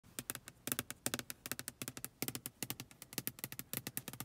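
Long acrylic nails tap and scratch the closed glass side window of a car from inside, with rain droplets on the outside of the flat pane. About 29 quick, sharp clicks come in uneven bursts, each bright and dry with almost no ring, over a faint low hum.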